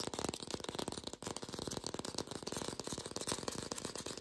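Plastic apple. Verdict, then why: Fake. An artificial plastic green apple is tapped rapidly, captured in lo-fi without a microphone. It gives a dense, continuous stream of short, hollow, clicky taps with a mid-pitched body and a bright, hissy top. Each tap dies away almost at once.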